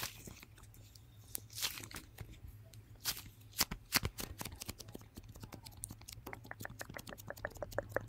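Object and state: Fluffy slime being squeezed.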